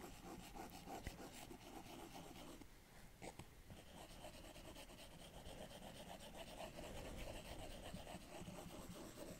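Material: Glass.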